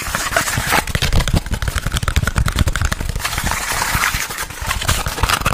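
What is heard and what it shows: Fingertips and nails rapidly tap and scratch a small, hollow, empty white printed cardboard product box held in both hands. The result is a dense, continuous run of quick hollow taps with a low thump and dry scratchy crackle.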